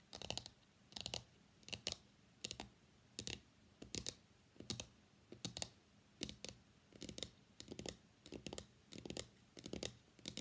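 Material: Cardboard.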